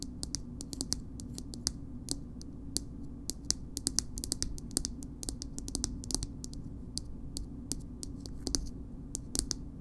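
Fingernails tap on a small, soft plastic BB cream tube and its purple plastic cap. The result is a steady stream of quick, sharp, bright clicks with no ring, heard over a low, steady background hum.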